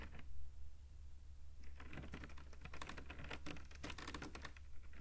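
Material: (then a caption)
Rattan cane. Fingertips behind a thin woven rattan cane webbing panel with open holes tap and scratch rapidly across the weave. After a few soft ticks, a dense run of quick, dry clicks and scratchy patter sets in, over a steady low hum. The sound is quiet and close, with short bright ticks that die away almost at once.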